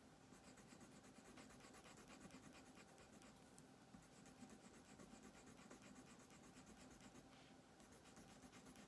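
A green colored pencil scratches across a thin paper coloring page on a wooden table in repeated shading strokes while the other hand holds the paper down. A steady, soft, dry scratching continues throughout, with a faint hum underneath.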